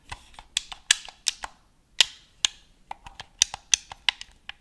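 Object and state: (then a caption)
Plastic game controller. A black, hollow, hand-sized plastic gamepad is held in both hands while fingertips and nails tap and click its buttons and scratch across the plastic shell. The result is a quick, irregular run of sharp, dry, bright clicks and taps with almost no low end and no ringing, plus faint scratchy rasps between them.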